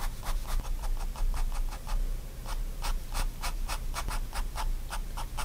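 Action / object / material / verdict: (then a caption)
scrape / fine pen on paper sketchbook sheet / paper / none. A fine pen tip makes rapid hatching strokes on a paper sketchbook sheet. It produces a steady run of short, dry scratches with bright, airy edges over a constant low background rumble.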